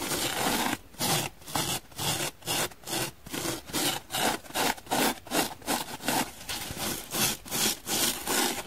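Long nails rapidly scratch a dry, hand-sized, blue and white donut-shaped solid foam sponge, working across both the blue and white sides. About 13 bright, raspy scratching strokes come in a quick, fairly steady rhythm, each a short burst of hissy friction with brief quiet gaps between.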